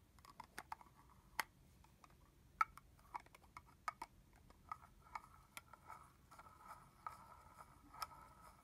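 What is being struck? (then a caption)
Plastic spray bottle with plastic cap, filled with liquid. A red plastic body-mist bottle filled with liquid is held horizontally while fingernails tap on its hollow red plastic cap. About 17 quiet, irregularly spaced clicks are heard, each a short, dry tap with a brief hollow midrange tone near 1.3 kHz and a bright edge.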